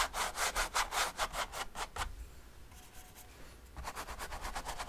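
A flat bristle brush scrubs back and forth over wet oil paint on a large stretched canvas lying on a table. It makes quick, rhythmic, bright rasping strokes. The strokes fade to a quiet, faint scratching midway, then resume with the same steady scrubbing.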